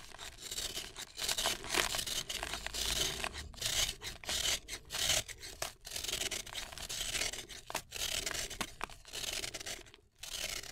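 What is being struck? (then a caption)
Cement and sand ball. A fist-sized, solid, dry and dusty cement-sand ball held in the fingers has its flat face scraped and shaved with a red-handled utility knife blade, shedding fine dust. Bright, hissy, gritty scraping strokes come in repeated bursts separated by brief pauses, with little low end and almost no ring after each stroke.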